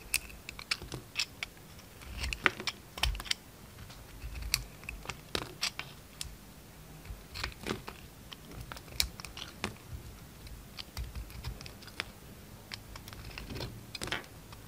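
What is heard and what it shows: Thick slices are shaved off a solid peach bar soap with a utility knife, producing a steady run of short, crisp scraping clicks with bright edges. Occasional low thuds sit beneath the cuts, and the sharp cutting sounds continue throughout.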